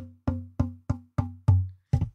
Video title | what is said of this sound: Fixing Fiddles, Building Banjos! Hobby Luthier Work 07/06/2022 | how you hold it too also changes it. We can hear different tones.